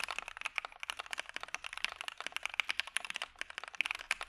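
Both hands type with their fingertips in a steady pattern on a full-size, dark-cased Maja mechanical keyboard with white PBT keycaps, a POM plate and PE foam. About 25 quick, bright, clacky keystrokes sound in a row, each dying away instantly with almost no low-end thump.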